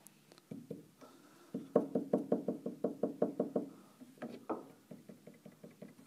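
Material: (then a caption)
Wood. Fingertips and a hand press down repeatedly at points along the large wooden keyframe under the keys of an open grand piano, rocking it against the wooden keybed in a knock test. About twenty short, dry, hollow wooden knocks sound in uneven runs, some quick and close together, each dying away almost instantly. The knocking shows the keyframe is not bedded flat.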